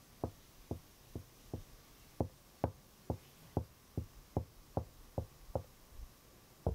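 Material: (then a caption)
Wood. Knuckles and fingertips of a half-curled hand knock on the hollow drawer front of a large, glossy wooden chest of drawers. The knocks come in a steady series of short, dull, low thuds that die away almost instantly, with a faint cicada possibly audible in the background.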